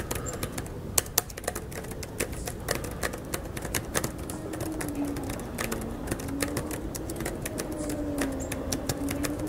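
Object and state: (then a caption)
Laptop keyboard with plastic keys. Fingertips of both hands rapidly tap the plastic keys of an open laptop resting on a metal mesh picnic table in an outdoor pavilion, with a microphone nearby left untouched. A steady stream of quick, dry, bright clicks with no ring runs throughout, over a faint low hum.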